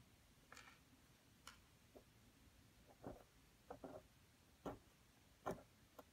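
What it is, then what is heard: Wet plaster dig block. A pointed wooden stick scratches and digs into a solid, dampened plaster excavation block, steadied by the other hand, with crumbled plaster lying around it. A series of short, quiet, irregularly spaced gritty scrapes and soft ticks is heard over a faint low background hiss, each dying away almost at once.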